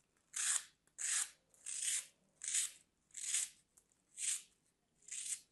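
A small solid bar of dry green floral foam is held in the hand and sliced into small cubes with a metal craft blade. Seven crisp, crunchy cutting and scraping strokes follow one another, each bright and hissy with almost nothing in the low end.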